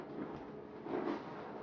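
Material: Nothing is struck.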